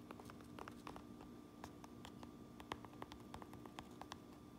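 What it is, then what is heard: Fabric trucker cap tapped with fingernails. Long manicured nails tap an empty Uinta Brewing trucker cap lying on a granite counter, striking its black front panels, stitched patch and red bill; the cap has a white mesh back. The result is a quiet, irregular series of short, dry ticks and soft clicks with bright edges that die away almost instantly, over a faint steady low hum.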